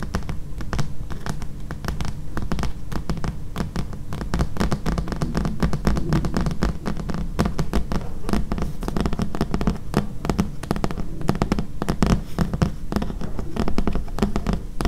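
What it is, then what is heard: Thick paperback book. Long nails tap and scratch near the edge of the glossy card cover of a thick, solid paperback book. Rapid, closely spaced dry taps run throughout with scratchy brushing between them, heavy in low thud and quickly damped.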